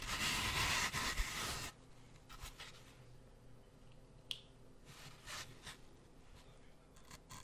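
Thin wooden toothpicks are pushed into and scraped across the surface of a brick-sized, solid, porous grey floral foam block held in one hand close to the mic. A loud, bright, crunchy scraping burst in the first couple of seconds gives way to quieter, scattered scratches and soft pokes, with one sharp click partway through.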